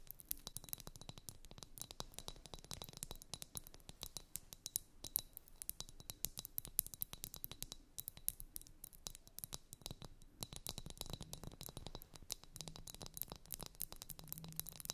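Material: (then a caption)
Glass. Long nails tap rapidly on a pair of blue liquid-filled glass facial ice-globe wands lying on fluffy fabric, striking both the glass balls and the handles. Quiet, dense, sharp clicks with bright glassy ticks sound over a soft low rumble, each tap dying away almost instantly.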